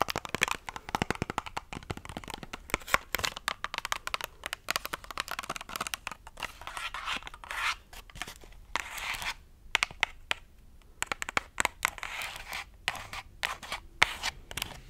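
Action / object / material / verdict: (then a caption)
scrape / cardboard and plastic blister pack / cardboard, plastic / none. Long acrylic nails scratch and tap a small retail blister pack of nail glue, a printed cardboard backing with a clear plastic bubble holding the glue tube, as it is held up and turned over. A dense run of quick, crisp clicks and scratchy crinkling, bright and dry, with brief quiet gaps between bursts.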